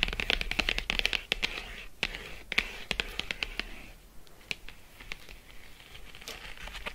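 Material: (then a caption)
Cardboard. Long acrylic nails quickly tap and scratch a flat printed cardboard box of Lindt 85% cocoa chocolate lying on faux fur. Crisp, bright clicks come in an irregular, rapid patter over a soft scratching hiss. The tapping is densest in the first four seconds, then thins into sparser taps and scratches.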